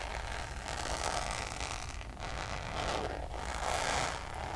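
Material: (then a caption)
Coated canvas. Long nails scratch the face of a hollow, checkered coated-canvas Louis Vuitton zip pouch in fast, raspy strokes. The result is a continuous dry scraping texture with a steady low rumble underneath and brighter swells of rasp that rise and fall through the clip.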